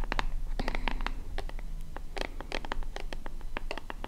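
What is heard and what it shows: Long fingernails scratch the front of a small, hollow white plastic lotion bottle with a purple pump top, held in both hands. The result is a quick, irregular run of short, dry, bright scratching ticks with almost no ring, over a faint low hum.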